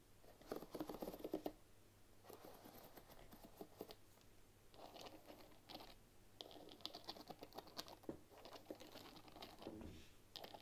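A bamboo paddle hairbrush with wooden pins lies on a table while long nails scratch and flick across the pins. The result is a quiet, dry, rapid patter of many small clicks and scratchy bursts in uneven clusters, with brief bright ticks and a low steady hum underneath.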